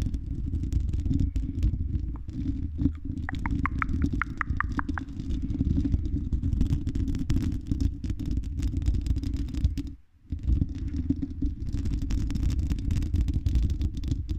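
Long red nails scratch the silver mesh metal grille of a condenser microphone's hollow dome, producing a dense, close, low rumbling scrape that runs steadily throughout. A quick run of brighter ticks appears a few seconds in, and the sound briefly drops out near the ten-second mark before the scratching resumes.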